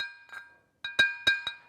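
A natural clay tile, fired at 1050 degrees, is tapped several times, each tap giving a short, bright, metallic ring. The steady tones sit near 900 Hz, 1.6 kHz and 2.5 kHz, with a higher bright partial above, and each ring fades within a fraction of a second. The clear metallic ring marks it as a good tile.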